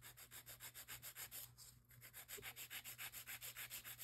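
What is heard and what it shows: A gloved hand rubs a grey abrasive nail file along the side walls and undersides of long, square, nude acrylic nail extensions made of solid plastic. The result is a steady, fast back-and-forth rasping of bright, high scratchy strokes, with a brief lull partway through before the rhythmic filing resumes.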